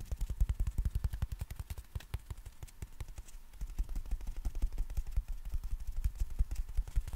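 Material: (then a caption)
Nylon. Fingertips tap and rub the folded nylon canopy of a compact black umbrella with a plastic handle and strap. The result is a quick, irregular run of soft, dull thumps, deep and muffled with almost no ring, over a faint fabric rustle.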